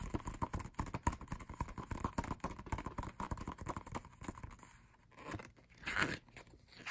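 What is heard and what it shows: Fingertips tap rapidly on the pages of an open matte paper lyric booklet, giving a dense run of soft, dull, crinkly taps with a low-heavy tone. After about four and a half seconds the tapping thins out and grows quieter, with a few brief papery swells near the end.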